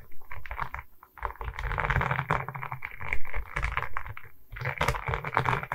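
Long red nails tap and scratch across the resin-bead surface of a diamond painting on a wooden canvas board held at its sides. Fast, dense clicking and scraping ride over a low, thumpy body, with short pauses near one second and again around four and a half seconds. Each tap dies away almost instantly.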